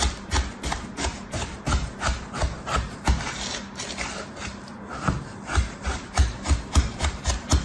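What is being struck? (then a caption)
Packed kinetic sand in a plastic tray. A red plastic knife scrapes and cuts through a packed, stamped slab of kinetic sand filling a mint plastic tray while the other hand steadies the tray. The result is a steady series of soft, gritty rasping strokes with a low thump in each pass and a faint bright hiss.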